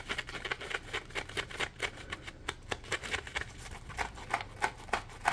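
A dry, palm-sized, porous yellow Scrub Daddy polymer foam sponge is scratched and squeezed with fingertips and nails. Quick, bright, crackly scratching bursts come in an uneven rhythm with brief pauses between them, each ending almost instantly over a faint low hum.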